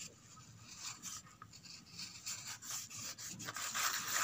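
Long red nails scratch the flat inside surface and the edge of an empty corrugated cardboard box. Quick, uneven strokes, about three or four a second, make a dry, bright, rasping scrape with almost no low end. The scratching grows louder toward the end.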